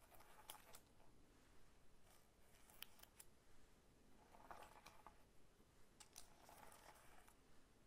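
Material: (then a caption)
Pineapple rind. Fingertips and short nails tap and scratch the scaly rind of a whole, solid pineapple lying sideways on a table. Quiet, dry, short taps and bright, scratchy rasps come in scattered bursts over a low, steady background hum.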